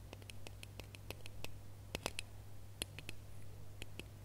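Fingernails scratch and tap the ridges of a small, red, ribbed, hollow plastic Christmas bauble held in both hands. A quick, uneven run of short, dry clicks and ticks is heard, bright and crisp, over a steady low hum. Each tap dies away almost instantly.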